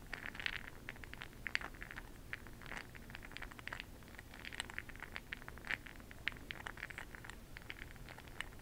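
A makeup brush swirls through a small clear glass cup full of small bronze bronzing pearl beads, making a soft, continuous rattling patter of beads clicking against the glass. The many quick, dry ticks center around 1.9 kHz with brighter high glints, over a faint low background rumble.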